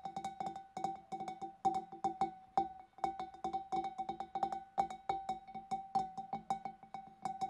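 Long dark nails tap the neck and rim of a large, clear, empty glass fish bowl in quick, rhythmic bursts. Each tap gives a short, bright click over a steady glassy tone near 780 Hz that fades almost at once.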